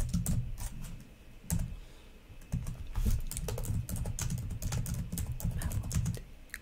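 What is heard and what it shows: Long nails and fingertips type and tap across the plastic keys of a black laptop keyboard in an uneven run of quick clicks. Each stroke gives a bright, dry tick over a soft low thump, with brief pauses between bursts.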